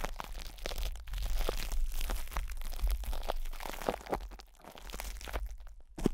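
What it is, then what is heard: Plastic cling wrap scratched over a metal mic grille. Fingertips scratch and rub plastic cling film stretched over a hollow metal microphone grille, with the hands moving around its sides. The result is a dense stream of crinkly, crunching crackles over a constant low rumble, with brief dips before a sharper crackle at the end.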